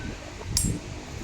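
A steel itak machete blade from Mindanao is struck or flicked once, giving a short, bright, chime-like ring that fades within a fraction of a second over a low background hum. The blade still rings, a sign of good metal.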